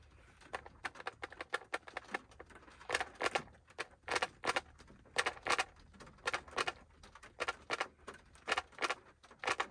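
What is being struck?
Small plastic mint tub lid.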